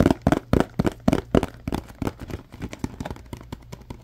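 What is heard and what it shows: Fingertips and nails tap and rub the surface of a small, apparently empty paperboard Scrub Daddy box with its flaps open. The result is a quick, irregular run of dry, hollow taps with short papery scratches between them. The taps are loudest at the start and grow softer and denser toward the end.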